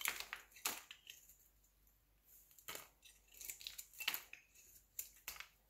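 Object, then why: Solid bar of soap scraped with a metal blade. A metal utility-knife blade shaves and scrapes thin flakes off a palm-sized, cream-coloured solid bar of soap held in one hand, working in quick strokes as the shavings fall onto a white surface. Each stroke makes a crisp, bright, crunchy scraping burst with almost no low end, separated by short quiet gaps.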